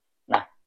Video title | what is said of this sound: TIPS MEMILIH DURIAN LOKAL | seperti ada ruang kosong di dalam itu ya Ada ada celah di dalam itu suaranya Bu Bu Bu dan tidak e terdengar nyaring ya